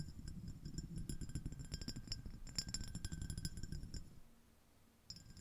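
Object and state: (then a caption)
Glass dish tapped and scratched. Long nails tap and scratch the rim and ridged surface of a small, clear, empty, iridescent glass shell-shaped dish. Quick, irregular bright clinks and clicks over a low rumble carry on for about four seconds, then fade to quiet with one last brief tap near the end.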